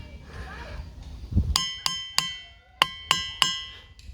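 A boulder is struck with a hammer six times, and each strike rings with a clear, bright, bell-like tone that rings briefly before fading. Faint background murmur and a low thump come before the first strike.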